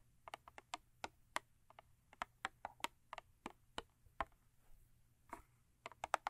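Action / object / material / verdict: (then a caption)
tap / thin cardboard toothpaste box / cardboard / none. Long acrylic nails tap the top and end of a thin cardboard Crest toothpaste box lying lengthwise. About nineteen quick, dry, papery clicks come in irregular bursts. Each tap is short and bright with almost no ring, over a quiet background.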